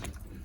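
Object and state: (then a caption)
Dried coconut, ready to eat. A dried coconut in its shell is shaken, and the loose contents inside knock against the shell with dull, low-pitched thuds. The sound is a knocking rattle from inside the coconut, indicating that it is dried and ready to eat.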